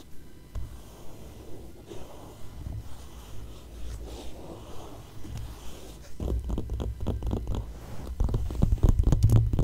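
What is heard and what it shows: Long acrylic nails and fingertips scratch and rub the thin coated pages of an open glossy paper magazine lying flat on the same spread throughout. Soft, low, muffled rubbing fills the first six seconds, then quicker and louder scratching strokes take over with brighter, papery edges. The scratching grows loudest near the end.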